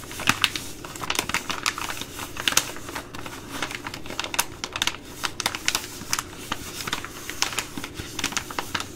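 A Ready Rice plastic laminate pouch, held in both hands, is tapped with long glittery nails. The result is a rapid, uneven run of sharp, bright clicking taps that die away almost instantly, over a faint steady low hum.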